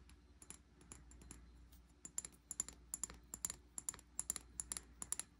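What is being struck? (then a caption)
Amber glass bottle. Fingernails tap and scratch the side of a medium amber glass bottle with a green cap and sticky label residue, held in the hand. Soft, soft brushing and light ticks in the first two seconds give way to about twenty crisp, bright, irregular taps. Each tap dies away almost at once, with a faint low hum underneath.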